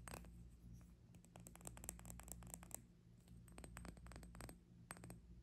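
Fingertips and long nails tap and scratch a small, clear, hollow glass hourglass with one bulb full of pink glitter sand, held horizontally in both hands. Quick, bright, clicky taps and short scratchy strokes on the glass sound in irregular clusters over a steady low hum.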